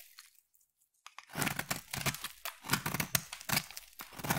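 A hand-sized solid black bar of soap is sliced and scraped with a utility knife blade, shaving off crunchy flakes. After a near-silent first second, dense crackling, crunching and tearing scrapes follow in quick overlapping strokes, bright and crisp with some low body.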